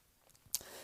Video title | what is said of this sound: Dreyfuss & Co Seafarer Dual Time Watch Review | When you tap it, it gives a really good thud. It doesn't sound cheap at all.